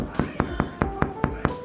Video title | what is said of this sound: Cinnamon Raisin Sourdough *step by step* | if it sounds like that it means it's cooked